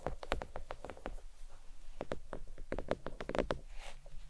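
Long nails tap and lightly scratch a thin, flat, red stitched faux leather oval desk mat resting on a towel. The taps come in a quick, uneven run; each is short and dry, with a dull low thud and a faint bright click that dies away almost at once. A soft, brief scratch is heard near the end.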